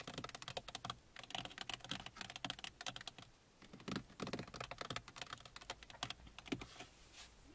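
Long painted fingernails and fingertips of both hands tap and scratch the hollow top of a large hard plastic car dashboard. Rapid, dry, bright clicks come in dense bursts with almost no ring, pausing briefly midway and ending in a soft scratching swipe.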